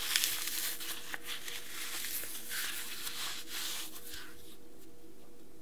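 Small pieces of dry green floral foam, a light porous solid, are squeezed and crumbled between bare fingers and rubbed between the palms, scattering crumbs onto a white table. A soft, bright, crackling rustle of crushing and crumbling runs throughout over a faint steady hum, with a few sharper crunches near the start before it settles into quieter rubbing.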